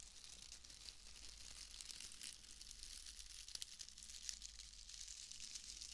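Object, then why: Bundle of wood wool shreds. A pale bundle of wood wool shreds is crinkled and squeezed with fingers. A steady, dry crackling rustle fills the clip, bright and concentrated in the high end, with a few slightly sharper snaps near the middle over a faint low hum.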